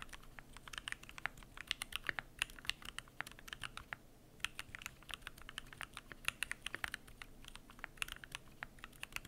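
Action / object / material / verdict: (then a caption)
tap / mechanical keyboard with aluminium case and plastic keycaps / plastic, aluminium / none. Fingertips type continuously on a Keychron Q1 aluminum mechanical keyboard with PBT plastic keycaps. It makes a fast, steady stream of short, crisp clicks that are bright with a midrange tone near 2.8 kHz. Each keystroke stops instantly, and there is a brief pause around the four-second mark.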